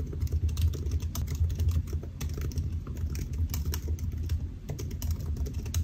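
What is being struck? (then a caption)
Laptop keyboard, aluminium body with plastic keys. Fingertips of both hands type steadily on the solid black plastic keys of a silver aluminium laptop resting on a white desk. The key presses come as a rapid, continuous run of short, dull taps, mostly low and thumpy with faint bright clicks on top, each dying away almost instantly.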